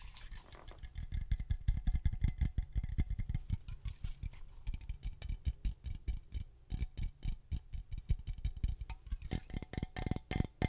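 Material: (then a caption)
Aluminum. An aluminum Glade aerosol air freshener can, a hollow metal cylinder, is tapped with long fingernails while held close to the microphone. It gives a fast, irregular patter of short, dull, hollow taps with a faint metallic ring, and a brief lull midway before the tapping picks up again.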